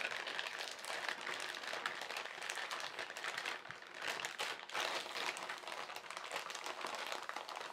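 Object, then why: Thin plastic carrier bag. A flat hand and fingertips press, rub and crinkle the surface of a large, thin, white printed plastic carrier bag with black lettering. The result is a steady, dense stream of bright, papery crackles with no low end, easing briefly around the four-second mark before continuing.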